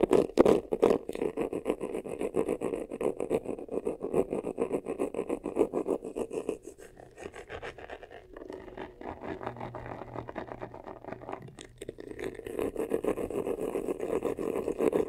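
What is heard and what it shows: Short nails scratch quickly over the textured top and front of a hollow, black crocodile-embossed faux leather vanity case. The result is a dense, rapid, dry scratching with a warm, hollow midrange body. It eases to a softer, thinner rasp in the middle before returning to full strength at the end.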